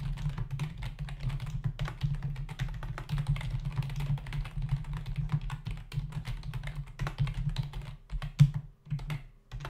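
Both hands type with their fingertips on a black plastic membrane computer keyboard with a hollow body and plastic keys, resting on a desk. A fast, steady run of soft, short clacks and taps sits over a constant low hum. Near the end the typing slows into a few separate, louder taps with brief pauses between them.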